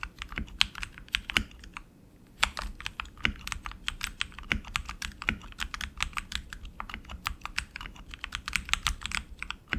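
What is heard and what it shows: Both hands type continuously with their fingertips on a tenkeyless RGB mechanical keyboard with tactile switches and plastic keycaps on an aluminum frame. A steady stream of sharp, bright clacks comes with a faint low thud beneath each keystroke. Typing pauses briefly near the two-second mark before resuming.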